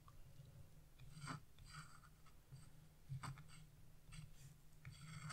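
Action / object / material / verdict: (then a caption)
scrape / wax-coated scratch-art paper / waxed paper / none. A chisel tip scratches a branch area into black wax-coated scratch-art paper, leaving black flakes on the sheet. Short, bright scraping strokes come in irregular bursts over a steady low hum.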